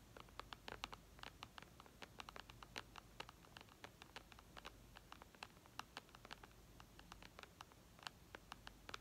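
Long red nails tap rapidly on the glass screen of a flat white iPad, producing many quick, crisp clicks with bright high-end snap. The taps come in uneven bursts over a low, steady background hum, each dying away almost instantly.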